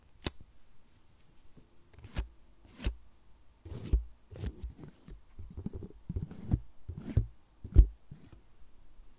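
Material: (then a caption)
Plastic. Long nails scratch and tap a small, solid white plastic USB power adapter with metal prongs held in the hands. About seven sharp, quick taps stand out among soft, dry scratching bursts, each click short with a faint low thump and almost no ring.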